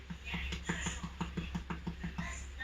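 A home-baked seeded bread loaf, fresh from the oven after 30 minutes of baking, is tapped repeatedly to test whether it is done. The quick, regular taps give dull, hollow knocks with a low resonant tone and a short ring. The hollow sound shows the crusty loaf is baked through.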